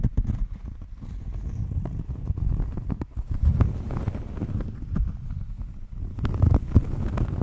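A round, flat cork coaster is held close to the microphone and scratched with long nails. The sound is a steady, low, muffled scratching and rubbing made of many short, quick strokes with little brightness.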